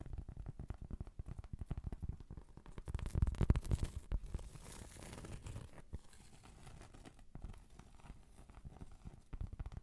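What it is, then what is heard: Cork trivet being scratched. Long pointed acrylic nails scratch the grainy surface of a thin, solid round cork trivet up close. It makes rapid, uneven, soft scratching and crinkling with a dull, low-heavy tone. A louder, denser stretch of scratching comes near the middle before the sound eases back to lighter scraping.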